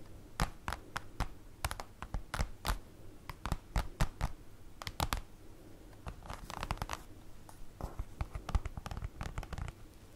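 Long acrylic nails tap and claw-tap on the surface of a large, flat black printed paper/cardboard folder lying on a table. Quick, dry clicks come in irregular bursts with little ring, mixed with denser scratchy raking passages over a faint low hum.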